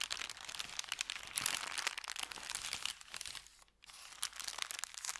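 An empty, folded thin kraft paper bakery bag is bent and crinkled by hands, then pressed flat with fingertips. The result is dense, bright, crackly crinkling with almost no low end. The crinkling pauses briefly to near silence before resuming in sharper bursts.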